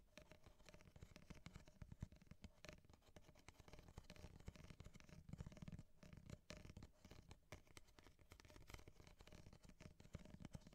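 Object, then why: Empty corrugated kraft paper cup. Long nails tap and scratch the corrugated side of an empty, hollow ripple-wall kraft paper coffee cup held upright in one hand. The result is a quiet, continuous run of dense, dry tapping and scraping with a dull, hollow low-end body and very little ring, plus only faint bright scratch detail.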